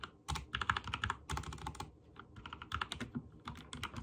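Fingertips type rapidly on a backlit mechanical keyboard with white and teal plastic keycaps. Short, sharp plastic clicks and clacks come in uneven bursts, with bright tops, a slight thud beneath, and brief pauses between flurries.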